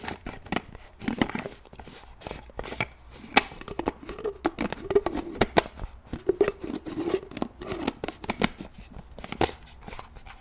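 Fingernails tap and click on the lid of a black plastic shaker bottle as it is opened and closed, making a quick, uneven run of short, dry plastic clicks. Softer scraping and crinkling fills the gaps, over a faint low hum.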